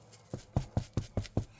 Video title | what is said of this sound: Easy Bread recipe to make at home. 🍞 Ditch the Ultra-processed-foods EP5 #ItsOnlyMeDylan #recipes | if you knock it and it sounds hollow, that means your bread is done